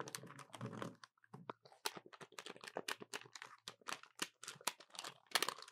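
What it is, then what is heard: Plastic calculator. A small dark plastic handheld calculator with a hollow body and rubber/plastic keys is pressed and tapped with fingertips and short painted nails, first lying on a table and then held in both hands. A rapid, uneven series of quiet, dry, bright clicks and taps sounds, each dying away almost instantly.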